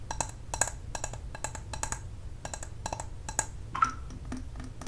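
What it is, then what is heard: Glass candle jar with metal lid. A medium glass candle jar filled with wax and closed with a metal lid is held in the hands and tapped and scratched with long nails on its glass sides and metal lid. Quick, dry clicks and clinks ring briefly, with bright edges and a faint tone near 1.3 kHz, over soft scratching and a low, steady background rumble.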